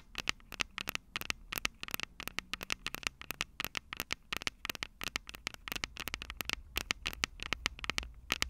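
Long purple acrylic nails on both hands tap and scratch the two metal X/Y microphone capsules of a small black plastic Tascam DR-05 recorder held upright. Dozens of rapid, dry, bright clicks and scrapes crowd together with a steady tone near 2.7 kHz and no ring after each tap, over a faint low rumble.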